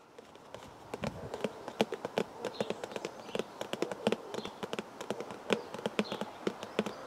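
Fingers tap rapidly and steadily on a cardboard tea bag box, producing many short, dry hollow taps with a soft mid-range body and brief bright clicks. The taps come in quick irregular bursts with almost no ring, over a faint quiet background.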